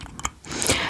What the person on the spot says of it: I have my tongue pierced and it does um knock on it.